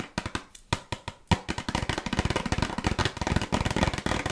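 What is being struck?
Small cardboard cookie box.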